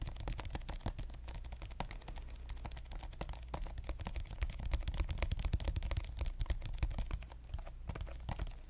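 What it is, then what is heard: Plastic lotion tube. Fingernails tap quickly on a pink soft plastic lotion squeeze tube. The result is a fast, uneven stream of short, dry taps, each a dull low thump with a faint bright click that dies away at once. The tapping grows slightly louder through the middle and eases off toward the end.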